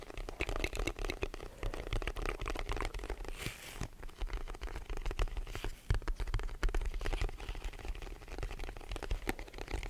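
A hollow white rectangular cardboard box is tapped with the fingertips of both hands, held above and in front of the microphone. Rapid, dense soft taps make dull, low, hollow thuds with a light papery crinkle, each dying away almost at once. The tapping continues steadily throughout.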